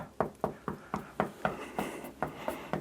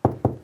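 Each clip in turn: First: solid masonry wall. Second: hollow plasterboard wall.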